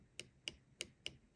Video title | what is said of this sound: Mortice Matters - The View Within Part 7 - All About Levers | the lever that's in the true gate you can hear it tapping and there's also maybe a millimeter or a bit more of movement there